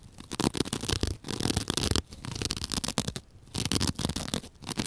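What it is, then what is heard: Foam sponge being scratched. A square white open-cell foam sponge, soft and porous, is held in one hand and scratched with long dark-painted fingernails. A second identical sponge lies idle nearby. Dense, rapid scratching rasps come in bursts with short quiet gaps, full of broad bright crackle over a soft low rumble.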